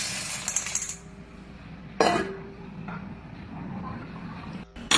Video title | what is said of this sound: KAKAIBA TALAGA ANG TUNOG NG GINTO!! | Kakaiba talaga ang tunog ng ginto